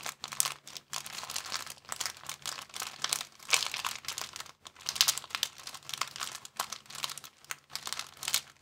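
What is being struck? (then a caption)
Thin plastic bag. A thin, empty clear plastic bag is crinkled with the fingertips of both hands. It makes dense, bright crackling bursts with brief pauses in between, and each one dies away almost instantly. A faint low hum runs underneath throughout.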